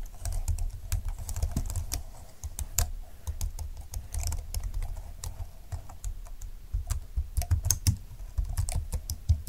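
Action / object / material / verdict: tap / plastic scissor-key computer keyboard / plastic / none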